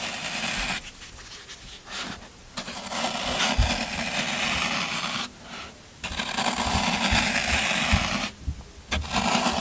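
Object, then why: Green floral foam block. Fingertips press dimples into a solid green floral foam brick, then a yellow-handled metal scraper tool rakes across its surface. Dense, bright crunching and scratching comes in long raking bursts, separated by brief quieter pauses.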